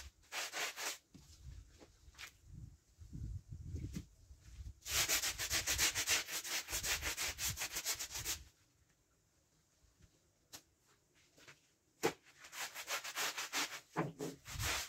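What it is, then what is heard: Wool pile rug being scrubbed. A kneeling person scrubs a large dirty patterned wool pile rug in red, navy and beige, partly folded over on a wet concrete floor, working its surface and folded underside with a small white handheld brush. Rapid, bright, bristly rubbing strokes come in dense bursts. The scrubbing stops for a few quiet seconds, then resumes in quick rasping strokes.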